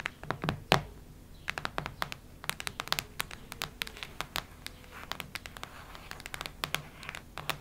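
Long red nails scratch and tap across the solid cover of a cactus-print hardcover notebook. A steady run of quick, dry, bright scratches and clicks sounds over a faint low hiss, with one sharper, louder scrape near the start.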